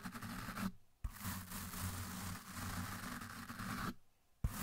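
The bristles of a blue plastic toothbrush scrub the side of a large, dark, soft, porous foam windscreen on a microphone, with the brush pressed into the foam throughout. The result is a dense, muffled scratching roar heavy in low rumble. It breaks off twice into near silence, each stop and restart marked by a short thump.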